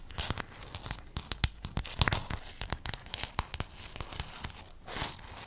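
A sheet of small silver-blue hexagonal mosaic tiles, held close in front of the mic, is scratched and tapped across by fingertips and nails. Quick, sharp clicky taps rise out of a steady bright, crinkly scratching hiss. Near the end the scratching briefly swells into a louder rasp.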